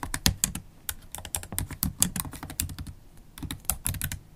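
Long holographic acrylic nails tap the black plastic keys of a MacBook Pro laptop keyboard while typing. The result is a steady, uneven stream of quick, bright clicks with soft low thuds beneath them. Each click dies away almost at once.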